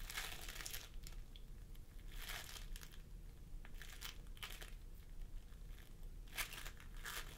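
Fingertips of both hands press and squish a pastel mound of floam sculpting foam made of polystyrene beads on a wooden table. Bursts of bright, sticky crinkling and crackling come and go over a steady low rumble, with short popping clicks between squeezes.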